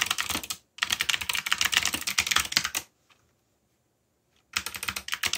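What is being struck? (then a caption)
Plastic mechanical keyboard. Fingertips type quickly on a backlit mechanical keyboard with black plastic keycaps, making dense, bright, clicky key presses with very short decay. A first burst of typing stops briefly, then a longer run continues before nearly two seconds of near silence. Typing resumes at the end.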